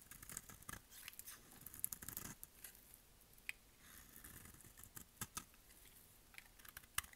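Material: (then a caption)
Soap. A solid orange bar of dry soap is held in the hand and shaved with a utility-knife blade in rapid cutting and scraping strokes that shed curly flakes. Quiet, dry, bright scratching and crisp ticks follow one another with no ringing, with a louder burst of scraping near the start and sharp clicks toward the end.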